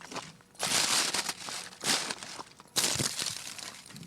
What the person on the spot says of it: IF I STEP ON IT, IT ALMOST SOUNDS LIKE GLASS